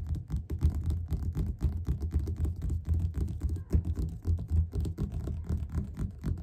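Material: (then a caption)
Paper. Fingertips of both hands tap quickly on the cover of a solid yellow paperback book lying flat. The result is a rapid, slightly uneven stream of soft, dull thuds, almost all low in tone with nothing bright, each dying away almost instantly.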